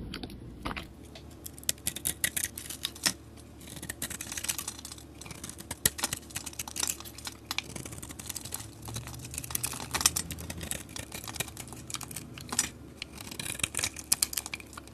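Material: Soap.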